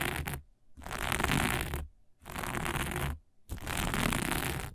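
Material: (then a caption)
Sequins. Long fingernails of one hand scratch across dark sequin fabric lying flat, in four rasping passes separated by brief pauses. Each pass is a dense, bright, crackling scrape with a low rumbling undertone.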